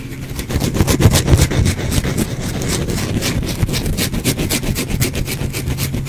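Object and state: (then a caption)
Bar of soap scratched with fingernails. A solid, cream-white bar of soap held in the hand is scratched and rubbed with the fingernails, producing a steady run of quick, dry scraping strokes with bright, airy texture over a low rumbling hum. The scratches repeat at a fast, somewhat uneven pace throughout.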